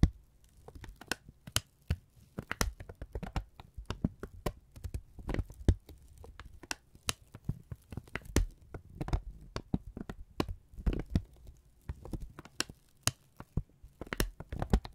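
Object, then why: Thin brown kraft paper strip. A thin brown kraft paper strip is held in both hands, folded over and crumpled with the fingertips. It gives a steady run of dry crinkles and sharp crackles, with short bright snaps over a soft low rustle and no ringing afterward.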